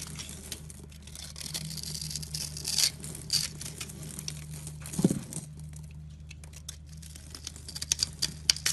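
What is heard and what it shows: A solid green bar of soap held in the hand is carved and scraped with a utility knife blade, making soft, bright scraping and crinkling sounds as small soap cubes crumble off. Fingertips rub the soap's surface. Quiet tapping crackles run throughout over a low steady hum.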